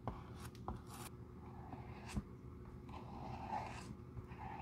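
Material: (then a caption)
Leather. A stiff bristle glue brush is rubbed across the light tan leather outsole of a Jil Sander shoe, held solid in hand, spreading glue. Soft, low scratchy brushing strokes carry on continuously, broken by a few sharper taps and brief brighter swishes.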